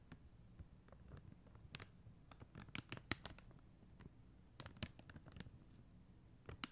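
Long acrylic nails tap the gems on a flat sheet of acrylic rhinestone stickers on white backing. They make a scattered series of quiet, dry, bright clicks, a few sharper than the rest. Each tap dies away almost instantly over a faint low background.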